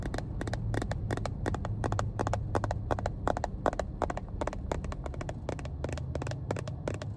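Long painted nails tap and scratch a small, hollow, cream-colored plastic first aid kit case embossed "Johnson & Johnson," held in one hand inside a car. Quick, irregular, dry clicks with a bright edge sound over a steady low rumble.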